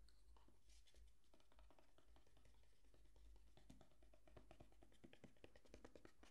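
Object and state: Cardboard box.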